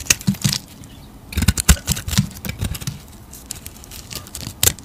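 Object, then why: Bar soap cut with a blade. A utility knife blade slices thick layers off a solid square yellow-green soap bar held in a hand. Short, dry scraping and crisp cutting strokes come in quick irregular bursts, each with a low thump and a bright, hissy edge, and they stop quickly with almost no ring.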